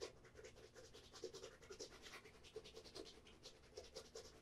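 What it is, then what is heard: Leather dress shoe. A black Florsheim Imperial leather dress shoe with a leather sole is held in both hands while fingers rub and scratch across the upper and the sole edge. The result is a quiet, irregular run of short, dry scratching strokes with a bright, hissy top and a faint mid tone underneath.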